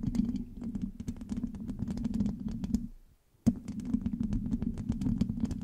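Long acrylic nails on both hands rapidly scratch and tap the hollow black metal mesh grille of a large USB microphone. The result is a dense stream of crisp clicks and scrapes over a low, hollow resonance. It stops briefly near the three-second mark, then resumes with a sharp tap.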